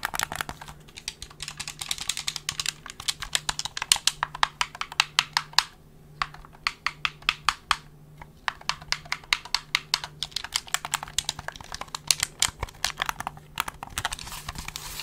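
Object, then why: Plastic game controller. A black plastic gamepad with a hollow shell is handled close up, with fingertips pressing its buttons and tapping and rubbing the plastic body. Many quick, bright, dry clicks and taps come in dense bursts with brief pauses. A faint low steady hum sits underneath.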